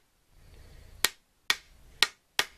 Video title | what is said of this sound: 13 Rick Stivers T-90 Rebuild Guide - Assembly Part 4 | hear that clink, clink? The countershaft is not properly aligned. It's hitting in the hole.